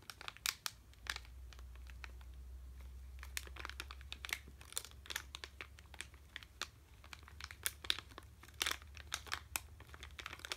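A sealed red plastic M&M's candy bag, full of candy, is held in both hands and crinkled with the fingertips. Bright, sharp crinkling and crackling comes in quick irregular bursts over a faint low hum.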